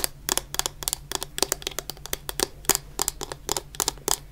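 Long fingernails tap rapidly on the bottom and sides of a medium clear plastic bottle full of orange shower gel. About twenty-two short, dry, bright clicks land in irregular clusters, each with a faint hollow body tone, over a low steady hum. Every tap stops almost instantly, leaving a crisp, close ticking.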